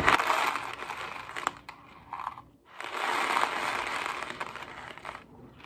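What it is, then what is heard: Cardboard box of dry pasta. A hollow Kraft mac & cheese cardboard box holding dry pasta is held in one hand, shaken, and tapped with fingertips and nails. Two long bursts of dense, crisp rattling and papery scratching are separated by a short stretch of softer tapping. The sound is mid-to-bright with almost no low end.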